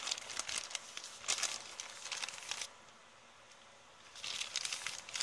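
An empty printed kraft paper shopping bag with blue print is held up, waved and crinkled by hand, giving bright, dry crackling bursts with almost no low end. The crinkling stops for about a second and a half of near-silence, then picks up again.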